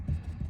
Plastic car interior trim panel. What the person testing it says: if you hit this, it'll tap.